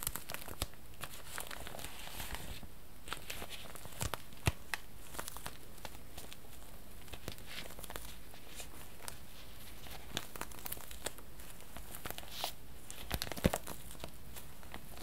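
Fingertips squeeze and crinkle the thin plastic of a long, transparent, tube-shaped package with a red end cap, held across the lap. The result is a steady, quiet stream of soft crinkling and tearing-like rustle, with sharp little crackles and clicks scattered throughout over a low background hum.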